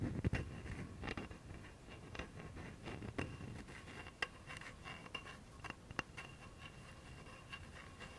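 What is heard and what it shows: A bare hand scratches and taps the knob end of a solid, light wooden baseball bat held upright, using fingernails and fingertips. Quiet, dry scratching runs throughout, broken by short, sharp clicks and taps that die away almost at once. There is a low, soft rumble near the start.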